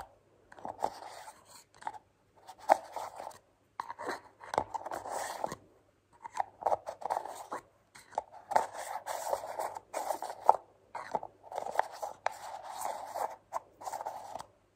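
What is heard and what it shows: Long painted nails tap and scratch along the screw lid and sides of a small, round, hollow white plastic cream jar held in the hands. The sound is quiet, dry clicking and scratchy rustling centred around 800 Hz with a bright edge, arriving in short bursts separated by brief silences.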